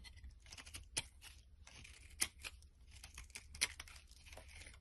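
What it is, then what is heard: Bar of soap being carved. A blade scrapes long shavings off a solid green bar of soap held in the palm. The quiet, bright, crinkly scraping runs throughout, broken by three sharper, louder rasps, over a faint low rumble.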